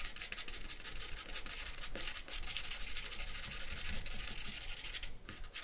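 A thin charcoal stick held in the fingers scratches and rubs across a single sheet of white drawing paper laid on black backing on a wooden table while sketching. The result is a steady, bright, dry rasping, made up of quick repeated strokes with brief pauses, and it thins out near the end.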